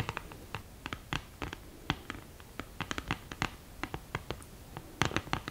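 Long green-painted nails scratch across the mirror and cardboard lid of an open, flat cardboard eyeshadow palette, which is thin and hollow with a mirror in the lid. A quick, uneven run of short, dry scratches and clicks stops almost instantly, each one bright and crisp over a light, hollow low thump.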